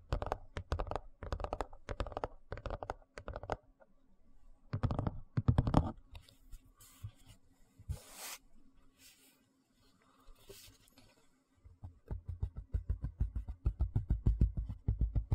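Fingertips tap and scratch the surface and edge of a large, thin white plastic tray as it is turned from upright to horizontal and back to vertical. Quick bursts of dull, low, hollow taps give way midway to quieter scratching with short bright, hissy swipes, then rapid tapping returns and builds louder toward the end.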